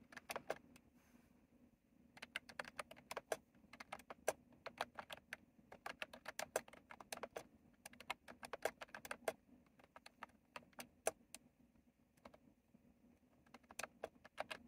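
Fingertips rapidly type and tap on a retro mechanical keyboard with round plastic keycaps. Quick bursts of sharp, bright clicks with very short decay are separated by brief pauses, over a faint steady low hum.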